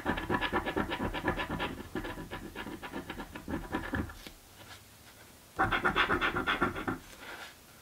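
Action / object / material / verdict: scrape / paper scratch-off lottery ticket / coated cardboard / none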